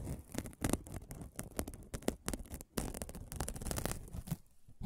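A flat, palm-sized aluminum scrubbing sponge made of silver aluminum mesh is held close and scratched and rubbed with fingertips and nails while being flexed and turned in the hands. It gives a dense run of dry, crinkly scratches and short crackling bursts, with bright rustling on top of a soft, low body. The sound stops quickly between strokes, leaving no ring.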